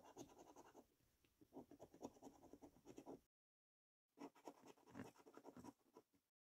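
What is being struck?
Paper scratchcard scratched with a coin.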